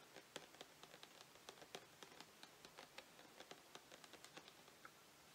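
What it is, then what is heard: Plastic shower gel bottle. Fingertips and nails tap and scratch the label of a tall plastic shower gel bottle that appears full and is held upright. About nineteen quiet, crisp clicks come in a quick irregular run. They are bright and light with almost no low end and die away almost at once.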